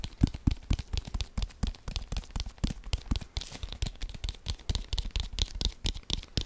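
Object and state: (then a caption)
Leather football. A brown leather American football, hollow and inflated, is held in both hands and tapped quickly with the fingertips. Dozens of short, dull, low thumps come in a fast, uneven rhythm with no ring, plus a faint crisp, bright texture on top.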